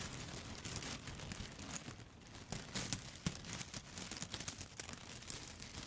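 A handful of dry yellow spaghetti sticks held upright is scratched and tapped with long foil-covered nail tips. The sound is a dense run of bright, crinkly scratches broken by sharp, quick ticks that die away almost at once, over a low, soft rumble.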